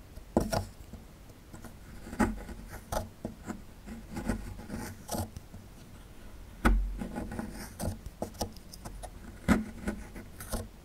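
A small metal chisel tool, held in one hand, scrapes and chips at a small solid plaster fossil excavation block. Dry, short scratches alternate with sharper chipping clicks and brief bright ticks. Each stroke dies away almost at once over a quiet, low background.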